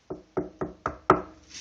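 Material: Wood.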